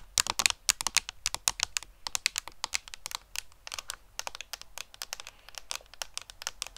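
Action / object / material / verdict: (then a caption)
tap / cardboard makeup palette / cardboard / none. A hollow, flat rectangular pink-orange cardboard Too Faced eyeshadow palette with an embossed peach pattern is held in the hand and rapidly tapped with long painted fingernails. The result is a quick, uneven stream of dry, bright clicks that stop instantly with no ring and carry almost no low end.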